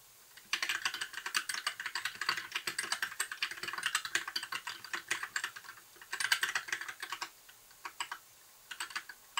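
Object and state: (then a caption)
Plastic mechanical keyboard. Fingertips type continuously on a compact white plastic mechanical keyboard with lit keycaps and a hollow case. Dozens of quick, bright, clacky taps come in rapid bursts, each centered in the upper mids with a high edge and almost no low end, dying away almost instantly. There is a brief lull around the middle, and the clip closes with a few scattered keystrokes.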